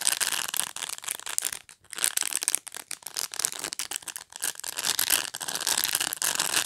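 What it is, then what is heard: Plastic pet brush. Fingernails scratch back and forth through the short plastic bristles of a black pet brush. The result is a dense, bright, crackling rasp with almost no low end, coming in uneven bursts separated by brief near-silent gaps.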